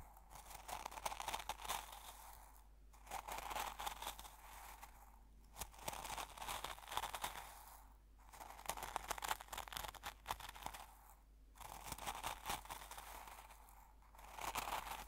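A fingertip digs and presses into coarse salt crystals in an open small glass jar, producing dense, gritty crunching and crackling. The crunching comes in sustained bursts separated by brief quiet pauses, with a bright, crisp texture centered in the mid range.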